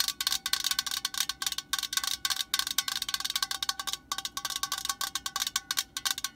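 Long nails tap rapidly on the metal body of a cylindrical aerosol spray can lying on its side, making around thirty quick, bright, tinny clicks. Each tap is dry and dies out almost instantly, with a faint ringing tone near 3.2 kHz and no low end.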